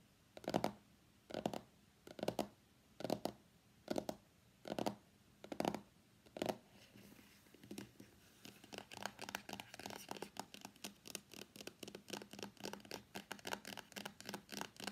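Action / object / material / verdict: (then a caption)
scrape / cardboard box / cardboard / none. Fingernails tap and scratch the back of a white cardboard iPhone X phone box, giving eight separate dry, bright scrapes at a steady pace. The box is then held while its edges are scratched in a quicker, denser run of short, crisp scratches that fills the rest of the clip.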